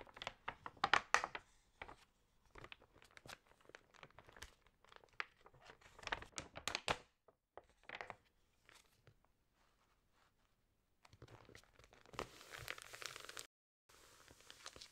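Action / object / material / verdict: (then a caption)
scrape / thick paper magazine / paper / none. Long-nailed fingers turn the pages of an open, thick-paper lifestyle magazine and press them flat, producing bright, crisp crinkles and sharp paper crackles in quick bursts. After a near-silent pause, a denser rustling swell builds before a brief cut to silence, then soft crinkling resumes.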